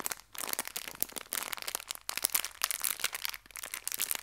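A small clear plastic bag full of colorful hair ties is held in both hands and crinkled and squeezed with fingertips and long nails. The result is dense, bright crinkling and sharp crackles in uneven bursts, with brief quieter dips between handlings.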